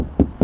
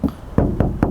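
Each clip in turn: First: plastic car fender panel. Second: metal car body panel.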